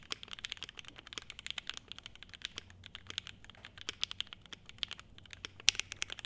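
Both hands type continuously with their fingertips on an E7-V2 75% mechanical keyboard with a clear polycarbonate case, a polycarbonate plate, SP Star Meteor White switches, foam damping and ABS keycaps. A steady, quick stream of short, bright, clacky keystrokes centred around 2.8 kHz is heard, with almost no low end. Each click stops almost instantly, with a few sharper, louder strokes toward the end.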